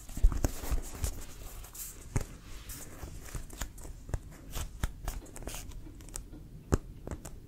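A full-size inflated brown composite leather American football with a pebbled synthetic-leather surface is held and tapped and scratched with fingertips and nails. Soft, dull, low thumps land in a steady, irregular run, with faint crinkly scratching between them. Each tap dies away almost at once, leaving a quiet, close sound.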